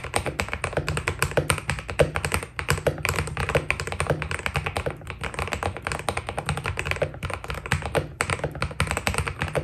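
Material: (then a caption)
PBT plastic. Fingertips type fast on a white Keydous NJ80 mechanical keyboard with PBT plastic keycaps. A dense, steady stream of short, crisp key taps with a deep, full low end and quick decay continues throughout the clip.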